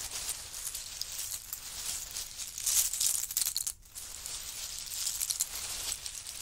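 Hands grab, lift and drop handfuls of small, hollow, empty pistachio shells from a large heap on a faux-fur mat, then scratch through the pile with fingertips and nails. The result is a steady, bright, crisp clattering and rustling with almost no low end, briefly dropping away just before the four-second mark before resuming.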